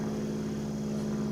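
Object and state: Nothing is struck.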